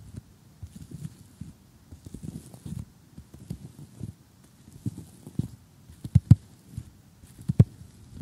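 Four fingers with short painted nails tap on an assembled flat cardboard jigsaw puzzle lying on a table, with the hand resting on the surface. The taps are soft, dull and low-pitched with almost no ring, falling in an uneven patter. A few sharper, louder taps come near the end.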